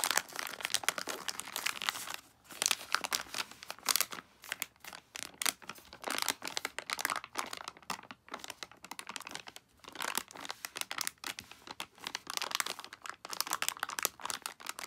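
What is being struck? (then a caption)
Soft plastic wipes pouch. A full soft plastic pouch of Daily Do-Over makeup remover wipes with a plastic lid is held and pressed flat, then tapped and crinkled with long acrylic nails and fingertips. Dense, bright crinkling and crisp clicking taps come in continuous bursts with brief pauses, all sharp and high with almost no low end.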